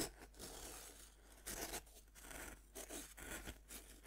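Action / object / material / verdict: scrape / bath bomb of compressed powder, scraped with a serrated knife / pressed powder / none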